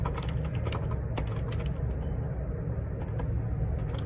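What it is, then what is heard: Plastic computer keyboard being typed on. Fingertips type continuously on a black Perixx Periboard 612 wireless Bluetooth dual ergonomic split keyboard, with a hollow black plastic body and plastic keycaps. Quick, soft plastic key taps with short bright clicks run together over a steady low rumble that carries most of the sound.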